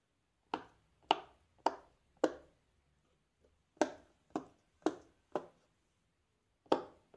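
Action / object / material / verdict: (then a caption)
tap / silicone pop-it fidget toy / silicone / none. A fingertip in a black lace glove presses the hollow bubbles of a large square rainbow silicone pop-it fidget toy row by row. Nine short, dry pops sound in two uneven groups, each with a crisp midrange snap that dies away almost instantly. Quiet pauses separate the presses.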